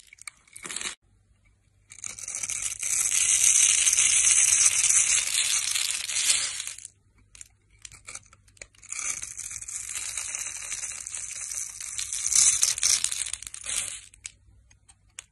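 A flat metal blade scrapes the surface of a solid, dry, pale green oval bar of soap with embossed lettering, held in the hand, shaving it into fine flakes. A brief scrape is followed by two long passes of dense, bright, crackly scratching, separated by a short pause.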